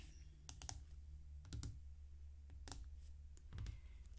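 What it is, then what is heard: Clear acrylic quilting ruler. Fingertips and nails tap and slide across a thin, flat, solid clear acrylic square quilting ruler lying on a green cutting mat, with a rotary cutter lying untouched nearby. Quiet, sharp, bright clicks come in small clusters over a steady low hum, each dying away almost at once.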